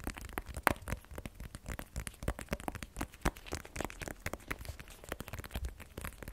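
A small black rigid cardboard iPhone 12 Pro box, hollow with the phone inside, is held in both hands and tapped with short fingernails and fingertips. The result is a quiet, rapid, irregular run of dry, crisp clicks and soft hollow thumps that stop instantly with no ring.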